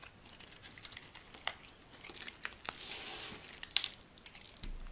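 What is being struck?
Bar of soap scraped with a metal blade.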